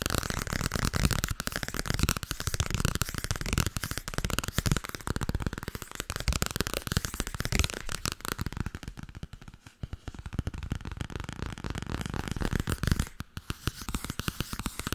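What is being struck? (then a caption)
Paperback book with glossy paper cover. A medium-sized softcover paperback book with a glossy paper cover and paper pages is held upright while long red-painted nails rapidly tap and scratch its cover. The result is a dense, continuous stream of fast, dry taps with a soft thudding low end and papery scratching over them. The sound thins and quiets briefly around the ten-second mark and again just after thirteen seconds.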